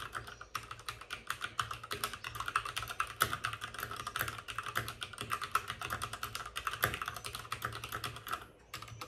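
Both hands type rapidly with short-nailed fingertips on a white full-size plastic mechanical keyboard with plastic keycaps and RGB backlighting, resting on a desk with a padded wrist rest. A steady stream of short, sharp clacks has a bright, clicky tone centred around 1.3 kHz, and each click dies away almost instantly. The typing runs continuously, with only a brief lull near the end.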